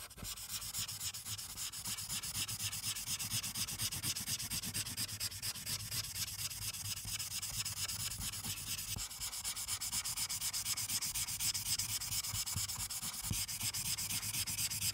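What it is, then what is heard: Felt-tip marker rubbing on paper. A white felt-tip marker held in the fingers rubs back and forth over a thin printed Santa colouring page clipped to a dark clipboard, colouring in the blue background. A steady, bright, papery scratching continues for the whole clip in quick repeated strokes, with a faint low hum underneath.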